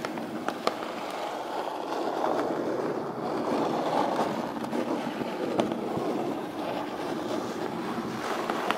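Long pointed pink nails tap and scratch the lid of a closed, hollow brown corrugated cardboard box. A steady, dry midrange scratching runs throughout, broken by occasional sharp, bright taps that die away quickly.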